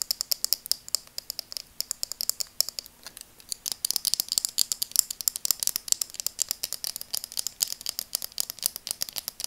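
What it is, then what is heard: Plastic glasses frame. Long dark nails rapidly tap and scratch the frame of burgundy translucent plastic-framed glasses held in both hands. The result is a dense stream of quick, dry, bright clicks with no ring, growing busier and louder in the second half over a faint steady low hum.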